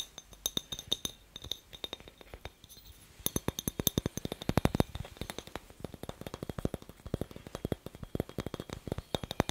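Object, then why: Glass light bulb. A glass light bulb is tapped in quick, irregular bursts, producing short, dry clicks and glassy clinks that die away almost instantly. The taps are softer and sparser for the first three seconds, then turn louder and denser for the rest of the clip.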